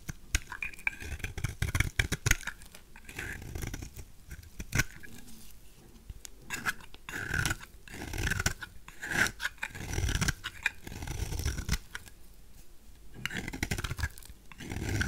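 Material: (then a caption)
Soap. A knife blade shaves curls off the face of a white, solid, oval bar of dry soap held in the hand (soaps from Duru, BioMio, Fax and Svoboda). Crisp, crunchy scraping strokes come in quick, uneven bursts, each a dry, low-heavy rasp with a bright edge and no ringing afterward.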